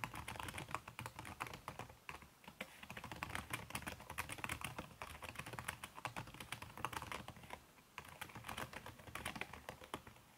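Fast typing with fingertips and long red-painted nails on a backlit aluminium laptop keyboard whose plastic keys are covered by a red silicone skin. A rapid, steady stream of soft, muffled key taps rises and falls in density, with brief pauses near two and eight seconds. The clicks are short and dry, with little ring.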